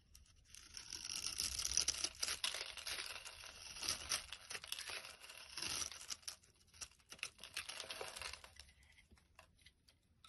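A metal blade slices and scrapes small cubes off a solid rectangular pink bar of soap scored into a grid, crumbling them. The sound is a dense, bright, crisp scratching and crackling made of many quick, irregular ticks, with almost no low end. It is loudest in the first few seconds and gradually thins and quiets toward the end.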